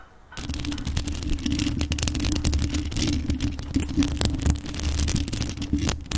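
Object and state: Rhinestone-decorated metal microphone.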